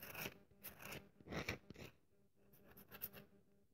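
A solid dry bar of soap, held in the hand, has its surface scratched with long nails. The result is a series of dry, rasping scrapes with bright, hissy highs and a soft low body. The strokes come in bursts, with a quieter gap in the middle.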